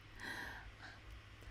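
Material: Nothing is struck.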